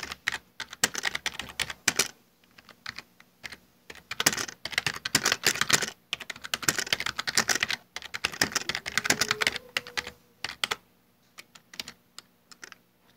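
Fingertips type and tap on the hollow keycaps of a full-size black plastic Dell desktop keyboard. Rapid bursts of bright, hollow plastic clicks come in quick runs separated by short pauses, and each click dies away almost instantly with very little low end.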